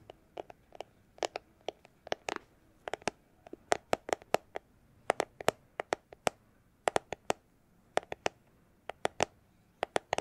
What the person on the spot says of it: it's a plastic glasses holder case